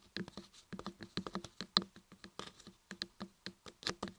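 Long nails and fingertips tap and scratch the carved ears and top edges of a solid laundry soap block carved with ears. About fourteen quick, dry, bright clicks and scrapes patter unevenly, each cutting off almost instantly with no ring.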